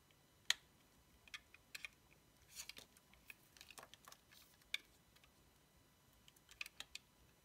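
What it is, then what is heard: Bar of soap being scraped. A dark blade scrapes and cuts an orange bar of solid soap with a laptop-cat sticker, held in the fingers. Quiet, crisp, bright clicks and short scraping crackles come in scattered bursts with almost no low end. Each sound dies away almost at once.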